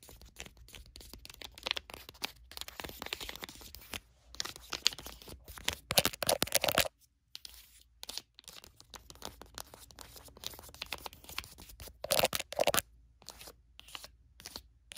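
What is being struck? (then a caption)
Foil sheet-mask sachet. Long acrylic nails tap and scratch a flat, sealed foil sheet-mask sachet lying on a blanket, while fingertips rub across it. The result is a dense run of quick, bright, crinkly clicks and scratchy rasps with almost no low end, broken by a short pause around seven seconds before the tapping resumes.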